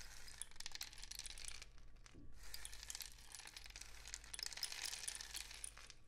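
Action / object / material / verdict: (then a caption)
shake / cardboard rain stick with loose filling / cardboard / none. A long hollow rain stick, apparently a cardboard tube painted with suns and dots, is held diagonally in both hands and tilted so its loose filling trickles through. It makes a dense, bright patter of tiny clicks and rattles over a steady low hum. The patter pauses briefly around the two-second mark, then flows on again to the end.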